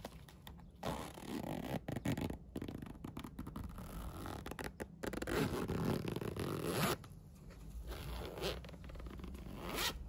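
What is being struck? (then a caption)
Fabric pencil case with plastic coil zipper. A yellow plastic coil zipper on a Minion polyester fabric pencil case is zipped and unzipped by fingers pulling the yellow plastic slider. It makes repeated close, raspy zipping runs with low fabric rustle, and brighter, longer pulls near the middle and end.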